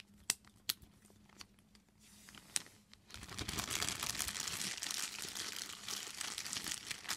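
An empty, clear, thin plastic bag is crumpled and pinched between fingertips and long nails. For the first three seconds, a few sharp, bright clicks and crackles stand out over a quiet background. After that, the bag gives way to a dense, continuous, high crinkling that lasts to the end.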